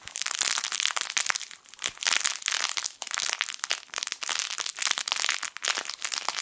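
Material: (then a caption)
Plastic film. A yellow sun-shaped soft fabric crinkle toy, a plush sun with crinkle film inside, is squeezed and rubbed with the fingertips of both hands. Dense, bright crinkling and crackling comes in rapid overlapping bursts with almost no low end, and each sound stops short with no ring.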